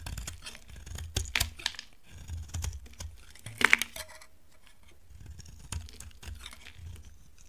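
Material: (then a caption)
Soap. A utility knife blade carves into a solid, dry peach-colored bar of soap, giving short, crisp scraping and crackling bursts with a bright, brittle edge. The cuts come in uneven clusters separated by quiet pauses, and the sharpest, loudest crunch falls just past the halfway point.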